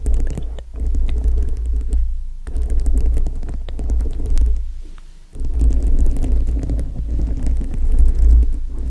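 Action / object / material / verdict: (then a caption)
scrape / foam microphone windscreen covered with plastic rhinestones / plastic, foam / none. Long nails tap and scratch over a foam microphone windscreen covered with multicolored plastic rhinestones. The sound is a deep, muffled rumbling and thumping, with scattered faint bright ticks on top. Brief quieter pauses come around two and five seconds.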